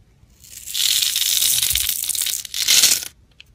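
A black utility blade shaves small sticks and cubes off a solid white-blue soap bar carved in a grid pattern, held in the hand. A long, bright, crisp scraping stroke swells and fades, followed by a shorter, sharper second stroke and a faint tick after.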